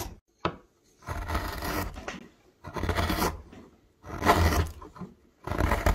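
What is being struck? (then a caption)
Myrtle wood blank carved with a metal gouge. A wide metal gouge, pressed by the thumb, carves and scrapes a hollow into a thick, solid myrtle wood blank labelled MYRTLE. A short tick is followed by several long, rasping strokes with a heavy low rumble and a bright, papery scrape, separated by brief silences.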